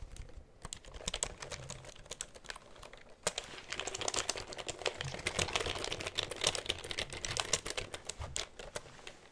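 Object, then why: Plastic computer keyboard. A black plastic computer keyboard is held upright close to the microphone while its keys are typed and tapped with the fingertips. Quick, bright plastic clicks come in a dense, uneven stream, each one dying away almost at once. The typing is sparse at first, then grows busier and louder through the middle before easing slightly at the end.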